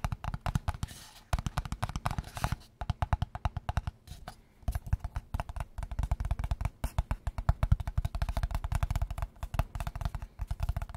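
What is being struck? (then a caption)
Small closed cardboard box. A small, closed, hollow square kraft cardboard box is held in the hands and tapped quickly on its sides with fingertips and nails. The result is a rapid, dense run of dull, low thumps with very little ring and occasional brief pauses.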